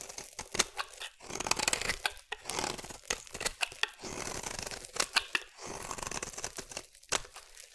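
A metal utility blade scrapes a solid pink bar of soap into shavings. It makes a run of dry, crisp, tearing scrapes with sharp clicks between strokes. The sound is bright and thin with almost no low end.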